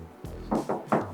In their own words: So bumbung masih bunyi besi. Masih bunyi besi. Good news. Kereta tak pernah terbaliklah at least.